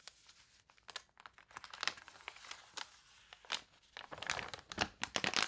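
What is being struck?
Paper catalog pages.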